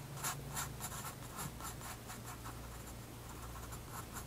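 A graphite pencil draws short scratching strokes on the page of a spiral-bound white paper sketchbook resting on a wooden desk. Quiet, dry, bright scratches come in quick, uneven bursts over a steady low hum. The strokes run on continuously through the clip without a clear stop.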